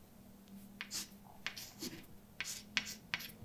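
A hand writes words with a white chalk stick on a large, flat, dark painted blackboard with a solid surface. Seven short, bright, scratchy taps and strokes stand out over a quiet, low steady hum.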